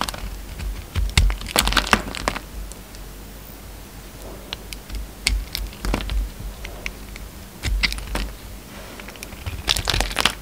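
A hand-held solid peach soap bar with a green speckled coating is shaved and scraped with a utility knife blade. Dry, crisp crackling and crunching scrapes come in bursts, with sharp bright clicks over a quiet low hum in the pauses between strokes.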